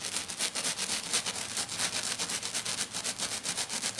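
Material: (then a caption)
Glitter sheet. Both hands scratch fast and aggressively with short dark-painted fingernails across a flat silver glitter sheet lying on a table. The result is a rapid run of bright, hissy scraping strokes, about four per second, with almost no low end.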